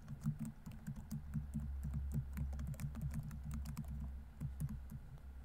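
Fingertips type continuously on a laptop keyboard with plastic keys, producing a rapid stream of soft, short clicks and taps over a steady low hum. Each keystroke dies away almost at once, and there is no speech.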